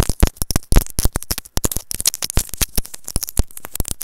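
A small white plastic earphone inline microphone is held in the fingertips and tapped and scratched with long nails. The result is a rapid run of sharp, dry, close-up taps and scratchy clicks with a heavy low-frequency thump, about 25 distinct hits over four seconds.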